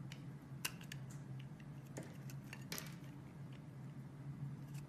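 A metal blade slices thin pieces off a solid pink bar of soap held in the hand, with quiet, crisp cutting and scraping strokes. Short, bright, dry scrapes stand out over a steady low hum.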